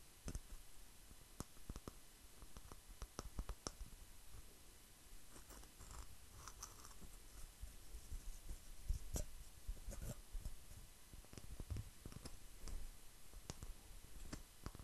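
Fingertips and nails tap and scratch the rough surface of a palm-sized solid grey speckled stone, possibly granite, held in one hand. Quiet, dry clicks and brief scratches are heard, with very short ring and a soft low rumble underneath, spread irregularly over the clip.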